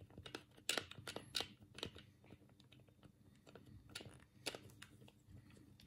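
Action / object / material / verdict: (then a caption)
tap / plastic game controller / plastic / none. A black hollow plastic Sega Mega Drive controller, held in both hands, is clicked with the thumbs on its D-pad and buttons. An irregular run of quiet, sharp, bright plastic clicks with a dull rattle underneath. Each click stops dead with no ring.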